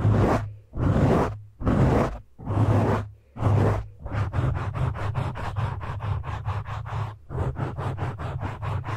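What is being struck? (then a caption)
Foam microphone windscreen. Fingertips and short nails scratch and grip a black foam windscreen on a microphone, with both hands on top. Five long, broad swishing strokes with a deep low rumble come first, then a quicker run of short scratching strokes that pauses briefly before resuming.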